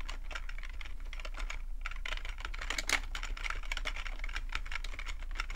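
Fingertips of both hands type continuously on a black full-size plastic computer keyboard, producing a dense, steady stream of short, bright clicks and clacks centered around 2 kHz. Each keystroke dies away almost at once, over a constant low hum.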